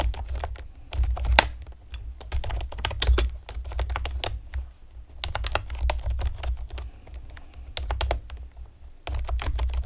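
Long painted nails and fingertips rapidly tap the hollow round retro keycaps of a pastel plastic typewriter-style computer keyboard. The sharp, bright clicks come in quick bursts with brief pauses, each dying away almost instantly over a steady low hum.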